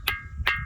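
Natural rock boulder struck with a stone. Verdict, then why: Ringing. A natural rock boulder near Junnar is struck twice with another rock. Each strike gives a sharp, bright ring around 2 kHz that fades quickly. The rock sounds metallic and hollow, like a metal vessel rather than stone.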